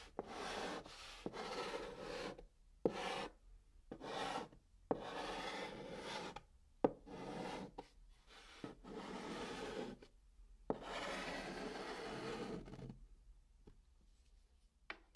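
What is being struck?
Chalk stick on a cardboard box top.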